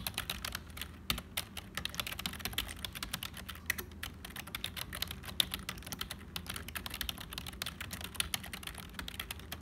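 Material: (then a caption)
Plastic. Fingertips of both hands type quickly on a black HP full-size plastic membrane keyboard with hollow keys. A dense, steady stream of dry, bright clicks and clacks sounds with no ringing after each stroke, over a faint low rumble.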